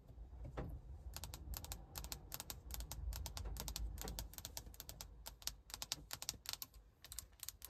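Long acrylic nail tips tap repeatedly on the flat glossy glass surface of a large vertical car infotainment touchscreen mounted in a plastic bezel. The taps are sharp, short, bright clicks in an uneven, quick rhythm over a steady low rumble.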